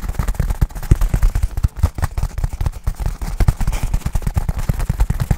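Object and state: Nylon fabric bag.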